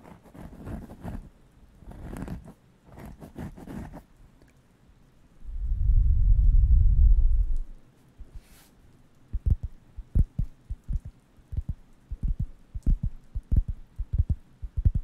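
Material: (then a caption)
Wood. A round, flat, thin wooden coaster with a cork-like feel, held in both hands close to the microphones, is scratched and tapped with fingertips. Short bursts of soft, scratchy rustling give way to a loud, deep, muffled rumble lasting about two seconds. Then come quick, dull, low taps that stop dead with no ring.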